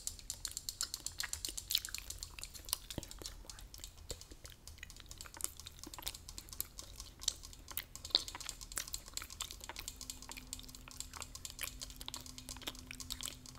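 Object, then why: Tin spray can. Fingers tap rapidly on a Lysol tin spray can while gum is chewed nearby, producing dense, quiet, bright clicking taps that stop almost instantly. A faint low steady hum enters for the last few seconds.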